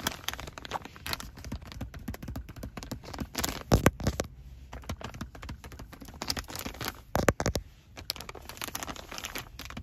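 A full, soft and flexible plastic pouch of 72 disinfecting wet wipes lies on a car seat while fingertips and short nails tap, press and crinkle the plastic and its resealable flap. Dense, irregular crinkles and light taps run throughout, with louder crackling bursts around four and seven seconds.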